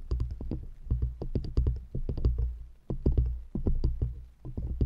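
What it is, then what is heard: Wooden rings. Long acrylic nails rapidly tap and scratch two stacked, light, solid wooden rings fitted around a microphone grille. The result is a dense run of quick, dull, woody clicks over a deep low hum, with brief bright ticks in each tap and short-lived ring.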